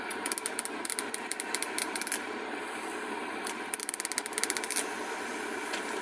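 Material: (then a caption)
Plastic. Long acrylic nails strum and tap along the teeth of a small, solid, bright pink plastic wide-tooth comb held up close. There are two runs of rapid, crisp, bright clicks, about 22 in all, with a short pause between them. A steady hiss sits underneath.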